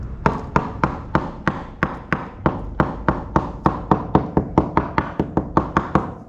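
A rotted wooden boat hull plank is tapped 24 times along an area already poked with holes by a screwdriver blade. Each tap gives a short, dull, low thud that dies away almost at once. The wood there is dead and needs replacing.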